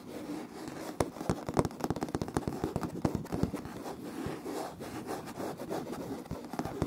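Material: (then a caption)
Laminate. Fingertips and short nails from both hands scratch and tap on a light wood-grain laminate floor with visible seams, close to the recorder. Dry, crisp scratches are heard, with sharp short taps scattered through them. The taps stop almost instantly with no ring.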